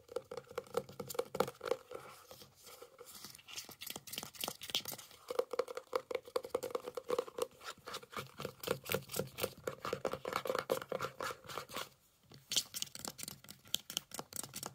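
A medium-size, hollow white plastic Johnson's lotion bottle lies on its side on a fuzzy blanket and is tapped and scratched with fingertips and nails. Rapid, crisp hollow taps with a tone around 520 Hz mix with scratchy crinkling, and there is a brief near-silent pause around the 12-second mark before the tapping resumes.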